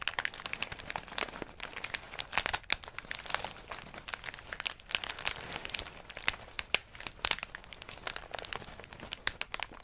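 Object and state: Plastic bag of pistachios.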